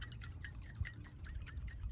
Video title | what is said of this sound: Hemi Dodge Dart Repaired and RIPPING! | shake it around here and see if you can hear it. That thing is full of gasoline. So it is a sunk float